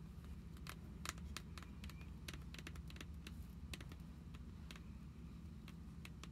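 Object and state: Fingernails tapping plastic card sleeves.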